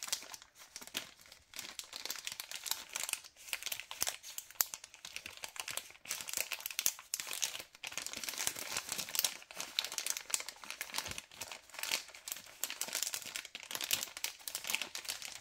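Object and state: Plastic bag of cable ties.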